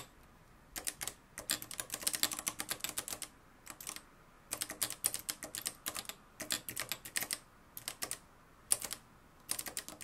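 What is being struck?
Plastic-cased manual typewriter with metal mechanism.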